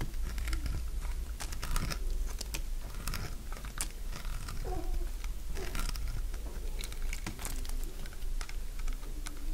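A solid, dry beige soap block held in the fingers is shaved into curls with a metal utility blade. Dense, crunchy cutting is heard as rapid crisp scrapes and bright clicks over a steady low hum.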